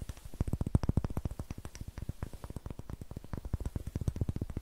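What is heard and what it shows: A palm-sized, solid, light-colored wooden cube with a rough greenish face is held in both hands and tapped and scratched with long nails. A steady, rapid stream of dozens of short, dull, low knocks is heard, each dying away almost instantly. Faint scratchy texture sits between the taps, with almost no bright content.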